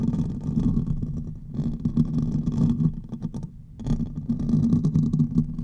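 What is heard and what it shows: Fingernails of both hands scratch the hollow metal mesh grille of a silver condenser microphone, producing a dense, rumbling scrape with a low hum and faint bright crackle. The scratching briefly fades to near quiet around three and a half seconds, then resumes just as thick to the end.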